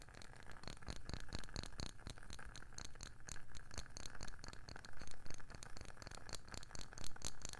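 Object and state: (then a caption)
Wooden candle lid. Long painted nails tap quickly on a round wooden candle lid with a printed label. The sound is a fast, steady flurry of short, dry knocks with a deep low thud, faint scratchy clicks, and almost no ring between taps.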